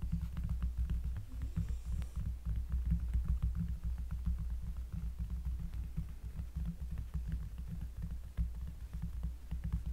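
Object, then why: Cork surface. Close-up finger tapping on a cork surface gives a rapid, uneven patter of soft, deep, bassy thuds. The taps are short and dull with almost no ring, their energy concentrated in the low end.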